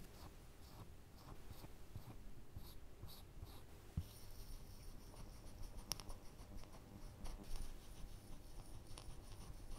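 A woodburning pen's wire tip is scratched along the lines of a pair of glasses drawn on a flat, thin plywood panel. The result is a quiet, steady, low-heavy scratching texture with a few faint high ticks and one brief sharper click partway through.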